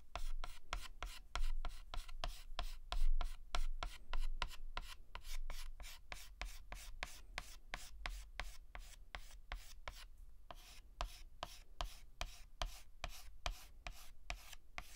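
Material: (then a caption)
Chalk. A white chalk stick makes rapid, short hatching strokes on a flat black chalkboard while filling in a letter. Each stroke is a brief, bright, scratchy tap over a steady low rumble. The taps repeat quickly and somewhat unevenly throughout.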